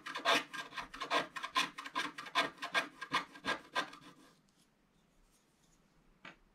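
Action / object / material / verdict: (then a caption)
scrape / wax-coated scratch art card scraped with a wooden stylus / waxed card / none. A wooden stylus scratches the remaining black areas of a solid, black wax-coated scratch art card lying flat. Quick, bright, raspy strokes repeat for about four seconds, then fade to near silence before one last faint scratch near the end.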